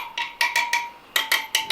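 A tool taps around the steel spokes of a Royal Enfield Interceptor 650 motorcycle's wire wheel to check their tension, giving eight short, clear, bright ringing taps with a steady high tone underneath. None gives the flat, dull thud of a loose spoke, so the spokes are all tight and okay.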